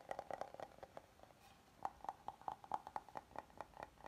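A flat, oval, solid wooden serving board is held tilted while fingertips tap and nails scratch its face. Quiet, dry, hollow knocks with a woody tone around 850 Hz die away almost at once, coming in quick clusters. A soft, brief scratch fills a short gap midway before the tapping resumes in a steady run.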